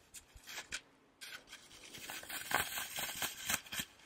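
Fingertips and nails rub and scratch the surface of a solid, porous, rectangular green floral foam brick held in one hand near the microphone. Quiet, dry, bright scratching strokes come in an irregular rhythm, with a brief lull before the rubbing resumes and grows busier.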